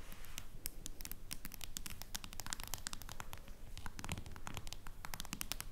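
Long nails tap and scratch rapidly on the back of a face-down smartphone in a plastic case. The result is a quick, irregular stream of sharp, bright clicks and scratchy ticks over a steady low rumble.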